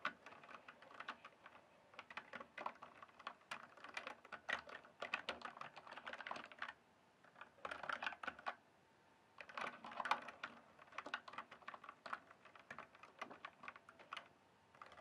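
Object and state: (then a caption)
Plastic mechanical keyboard. Fingertips type and tap on a full-size RGB backlit plastic mechanical keyboard with a hollow case, making rapid, crisp clicky keystrokes centered around 800 Hz with bright upper edges. The typing comes in bursts with brief pauses near 7 and 9 seconds, and each short, dry click fades almost instantly.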